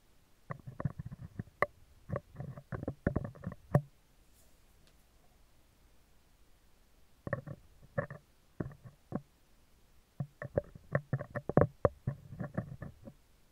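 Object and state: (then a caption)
Metal microphone grille being scratched. Metal tweezer tips scratch the top and then the lower-left of a hollow, round steel wire-mesh microphone grille, making bursts of dry, rasping scrapes with a low rumbling body and a faint mid-range ring. Quick scratches cluster in three runs separated by quiet pauses.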